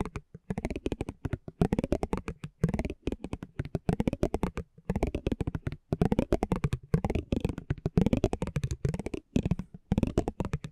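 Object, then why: Thin cardboard card with a metal spiked pinwheel. A metal spiked pinwheel is rolled and scratched across a small, thin cardboard basketball trading card held in the hand. It makes a rapid, dense run of short dry clicks and ticks with a low-heavy body, coming in bursts separated by brief pauses.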